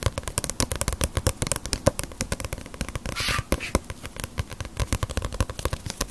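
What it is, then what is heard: Paperback book tapped with fingernails. Long nails tap rapidly on the glossy front cover of a small, solid paperback Ace of Diamond manga book held upright. A steady run of dozens of crisp, dry clicks has a soft low thump beneath each one, and a brief bright scraping hiss appears just past the three-second mark.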